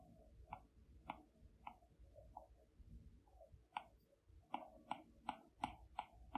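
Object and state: Stylus taps on a tablet glass screen.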